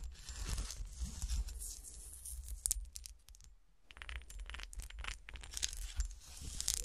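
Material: Glass.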